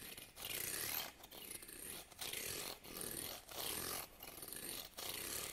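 Fingernails scratch and strum along the teeth of a small, solid wooden hair comb held in the hand. Quiet, bright, raspy scraping comes in repeated strokes separated by short pauses, with very little low end.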